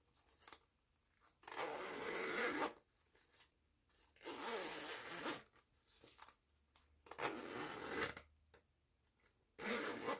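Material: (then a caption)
Nylon fabric. Long nails grip the metal pull of a purple nylon zipper on a small, soft, printed fabric cosmetic pouch and zip it along the edge. Four bright, raspy zipping runs of about a second each are heard, separated by quiet pauses with faint clicks and taps.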